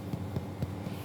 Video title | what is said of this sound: The Importance of Steam in Baking | you need to be able to hear a hollow sound. If you can hear that, that means your brioche is ready.